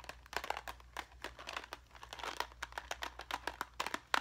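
A small clear hard plastic cube box filled with plastic rhinestone gems is held in both hands, squeezed and shaken, with fingernails tapping and scratching the plastic. A quick, uneven run of crisp clicks, rattles and crinkly scrapes follows, bright and dry with almost no low end and no ring after each tick.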